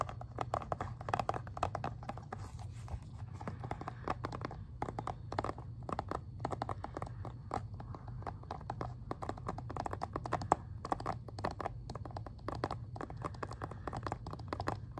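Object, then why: Plastic game case. Fingertips and nails tap and scratch the plastic back side of an Xbox 360 game case in a dense, continuous run of quick, dry clicks and scrapes. The crisp ticks sit mostly in the midrange over a steady low hum, with no ring after each touch.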